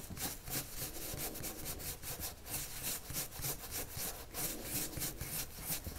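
The tip of a red wood-cased colored pencil, held in the hand, rubs across a thin white paper sheet lying flat on a wooden table. Continuous stroking and scratching drawing strokes come in a steady rhythm of bright, hissy bursts with a soft low rumble underneath.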